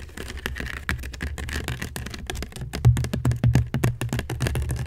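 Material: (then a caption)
Seagrass. Long nails scratch and scrape across a hollow, upside-down woven seagrass basket. The result is a dense, uneven run of dry, crackly scratches over a low, hollow thump from the basket's body. It grows louder toward the end.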